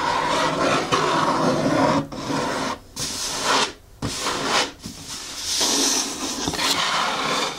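A blue printed cardboard shoe box with its lid closed sits on a table while long fingernails scratch and tap across the lid, and the box is briefly held by its sides. The sound is a steady, bright rasping scrape broken by a few short pauses, with a dry papery texture and little low end.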